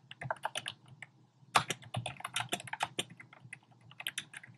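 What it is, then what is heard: Plastic typewriter-style keyboard being typed on. Fingertips with short painted nails type rapidly on a compact black plastic typewriter-style keyboard with hollow, round pink, red and beige plastic keycaps. Quick, irregular bursts of bright, hollow clicks and clacks come with a brief pause near the middle. A sharp, louder keystroke resumes the fast tapping, and each click dies away almost instantly.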